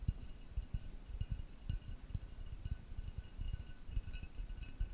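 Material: Ceramic.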